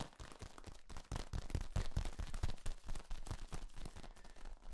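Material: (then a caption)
Plastic. A hand grips and squeezes the ribs of a long, hollow, flexible yellow corrugated plastic tube held upright. It gives a dense, irregular run of dry crackling clicks and soft low thumps, with a few louder pops in the middle. Each crackle stops dead with no ring.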